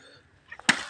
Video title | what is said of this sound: #เตาเผาถ่านบ้านๆเตาสองเปิดครั้งแรก | รุ่นเคาะเอาครับเคาะนี่ดังปิ๊งๆเลยนะ